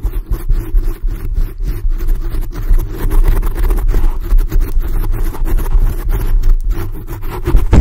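Long glossy blue acrylic nails scratch intensely with both hands at a black foam windscreen covering a large black microphone. The result is a deep, muffled, rumbling scrape made of rapid, dense strokes, with almost all of its energy in the low bass and nothing bright on top.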